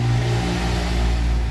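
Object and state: Nothing is struck.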